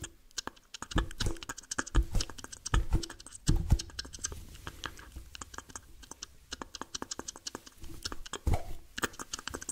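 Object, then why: Soft rubber squishy ball. Fingertips and nails tap, scratch and squeeze the surface of a hand-sized, soft, multicolored yellow, pink and purple rubber squishy stress ball held in both hands. Dense, irregular sharp clicks and taps are heard over soft rubbery squishes, with a few deeper, thumping squeezes standing out from the quiet patter.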